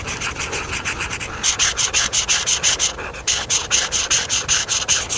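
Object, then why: Felt marker on a thin paper page. A felt marker tip is rubbed back and forth over a thin paper coloring book page with a camper drawing, lying flat, to fill in areas. Quick, bright scratchy strokes repeat steadily, softer for the first second or so, then louder, with a brief lull just past the three-second mark before the rubbing resumes.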